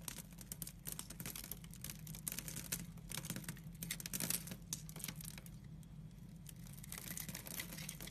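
A utility knife cuts small cubes off a solid translucent brown glycerin bar soap scored in a grid, held by a hand with pink nails. Dense, crisp, bright crackling and snapping clicks run throughout over a steady low hum.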